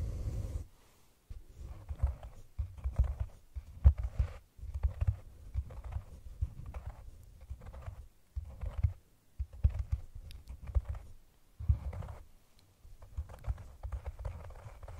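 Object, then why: Hollow cork cylinder container. Long painted nails rapidly tap and scratch a round, hollow brown cork cylinder container set over the microphone. The sound is a muffled, boomy patter of quick soft thumps centered around 70 Hz, coming in bursts separated by short pauses. Each tap dies away almost instantly, with faint scratchy texture above.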